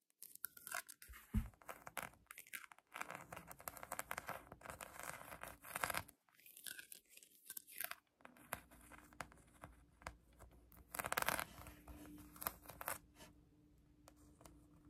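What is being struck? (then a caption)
Polyurethane foam donut toy. Long acrylic nails scratch a pink polyurethane foam donut squishy toy, making dense, dry scratching and crinkling bursts with a bright hiss. The bursts come in quiet, closely spaced strokes, broken by brief pauses near the 1.5-, 6- and 8-second marks.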